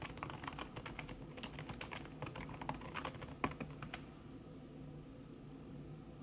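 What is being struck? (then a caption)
Aluminium keyboard with silicone key cover. Fast typing on a thin backlit aluminium keyboard with plastic keys under a red silicone skin, done with the fingertips and long red-painted nails, makes a rapid stream of soft, muffled taps with a few sharper clicks. The tapping runs for about four seconds, then stops, leaving only a faint, steady low background hum.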